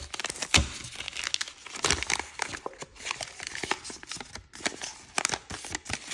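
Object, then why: Thin origami paper sheet on a wooden table. A thin floral-print origami paper sheet is folded and creased by fingertips and nails on a wooden table, with rubbing along the edges. Dense, bright crinkling and crackling are broken by sharper snaps, the loudest near the half-second mark and again just past five seconds.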